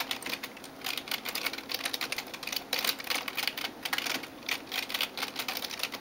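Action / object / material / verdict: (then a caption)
tap / plastic computer keyboard keys / plastic / none. Fingertips and nails type on the keys of a backlit plastic gaming keyboard. The result is a steady stream of quick, bright, clicky taps with almost no low end, each dying away almost at once, and with short pauses between bursts.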